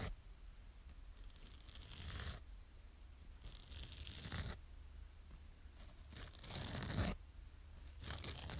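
A yellow foam kitchen sponge with a green scouring side, held in one hand, is scratched with long nails. Bursts of bright, rough scratching of about a second each come and go over a steady low hum, with the scrapes growing brighter and louder in the later passes.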